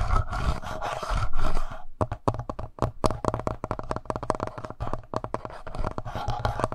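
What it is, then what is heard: Plastic handheld audio recorder. Fingertips of both hands scratch and tap the front plastic body of a black, palm-sized, hollow Tascam portable recorder. A dense, rumbling scratch opens the clip, then breaks into a quick run of short, dull, hollow taps with a deep low-end thump. The scratching rises again near the end.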